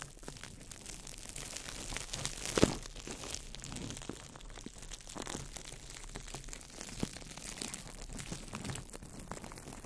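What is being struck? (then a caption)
Crumpled clear plastic wrap. A small ball of crumpled clear plastic wrap is crinkled by fingertips over the mic, producing a steady, dense stream of soft crackles and rustles with bright, hissy edges. One sharper, louder crunch stands out early on before the crinkling continues at a low, even level.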